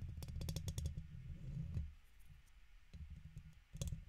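A red plastic guitar pick held in the fingertips is scratched along the side of the woven metal mesh dome grille of a large silver USB condenser microphone. The scratching comes through as a heavy low rumble under a rapid run of sharp, bright clicks. It thins to a quiet hiss in the middle, then the clicking and rumble return.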